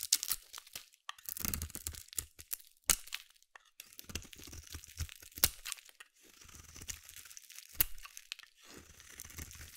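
A small metal blade shaves and carves curls off a palm-sized, solid yellow bar of soap held in one hand. Crisp, bright scraping and crunching strokes come in irregular bursts, with occasional sharper cuts and faint low thuds underneath. Thin curls peel away from the bar's surface.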